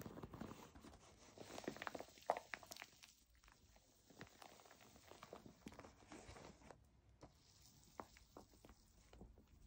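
A white textured plastic foam bath pillow is scratched along its side with long nails, then tapped on the front with fingertips while it lies flat. Dense crinkly scratching in the first few seconds gives way to a string of quiet, short, dry taps with almost no ring.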